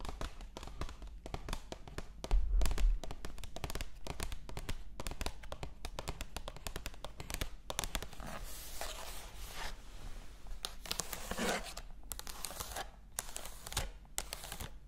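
Long acrylic nails tap quickly on the paper pages of an open illustrated cat book held up in the air. Rapid, uneven, dry taps come about four per second with short decays, over a steady low rumble, with a louder cluster around two and a half seconds in.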